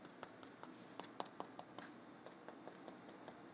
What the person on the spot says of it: you hear that nice and crispy